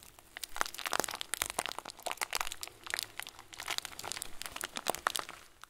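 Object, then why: Plastic bag of small plastic beads. A clear, hand-sized plastic bag full of small white plastic pearls is squeezed with fingers and thumbs, so the beads crunch and shift inside. A dense run of short, bright crinkles and sharp crunching clicks rises and falls in quick bursts, with very little low end and no ringing after each crunch.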